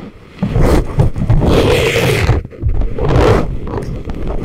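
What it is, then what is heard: Silicone ear microphone scraped with wooden picks. Thin wooden ear picks scrape inside the ear canals of a pair of life-size, soft, solid rubbery silicone ear models used as a binaural microphone. The result is close, low-heavy rubbery scratching and rumbling in two long, dense bursts, separated by a brief dip in the middle.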